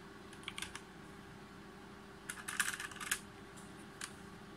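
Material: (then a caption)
Plastic. Fingertips type on a full-size Logitech G513 mechanical keyboard with RGB backlight, plastic keycaps on a brushed aluminum top plate, lying on a desk mat. Short bright clicky taps come in irregular bursts, a few early and a denser cluster near the middle, then one last tap, over a steady low hum.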